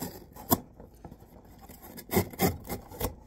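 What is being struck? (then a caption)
Corrugated cardboard box with tape. A hand draws a utility knife blade along the taped seam of a tall, empty-looking corrugated cardboard shipping box held upright, slicing and scraping the tape and cardboard. Dry, rasping scrapes rise out of a quiet background in short, uneven bursts, with sharp strokes that reach high, bright frequencies and die away almost instantly.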